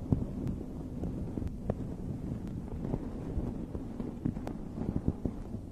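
Long red nails scratch and rub the fluffy surface of a dome-shaped fuzzy fabric microphone cover. The result is a steady, muffled, low rumbling rustle with scattered soft thumps and faint brief ticks throughout.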